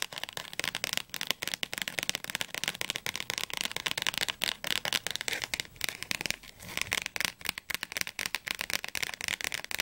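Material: Paper.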